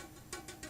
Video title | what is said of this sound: Guitar Setup 1 Setting Neck Relief | if you tap it you can hear that it's not sitting right on the Fret